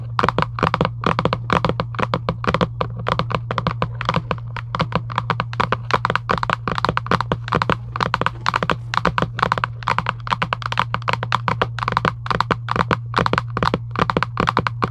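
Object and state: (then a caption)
Cardboard card box tapped with fingernails. Long acrylic nail tips rapidly tap and scratch a flat printed cardboard UNO card box resting on a table. The result is a dense stream of short, dry clicks with a papery, midrange tone around 1 kHz and no ring. A steady low hum runs underneath throughout.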